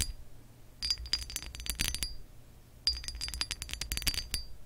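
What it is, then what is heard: Textured glass lamp base. Long acrylic nails tap and scratch across the ridges of an embossed, textured glass lamp base. Two bursts of quick, bright clinks each give a short, high glassy ring that dies away almost at once, over a faint low background hum.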